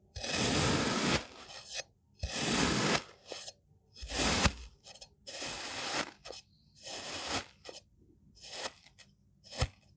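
A hand-held white-bladed knife scrapes and rakes lines through a flattened pile of loose green kinetic sand on a table. About eight gritty, crunching scrape strokes of uneven length come through, each a bright, broadband rasp separated by short pauses.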